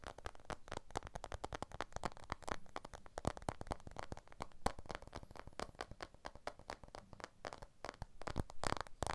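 A blue iPhone 12 with a glass back and aluminium frame is held in both hands in front of a stereo recorder while fingertips and short nails tap and scratch along its edges and glass back. The result is a quick, dense run of short, dry clicks and scratches with little ring, carrying a soft low thump under bright clicky edges.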